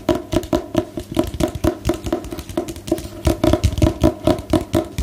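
A solid book with a glossy paper cover showing a black-and-white photo is held upright and tapped on the cover with long nails. The result is a steady run of short, hollow knocks with a dull, low-weighted tone and almost no brightness. The taps die away quickly, with a brief cluster of quicker taps near the end.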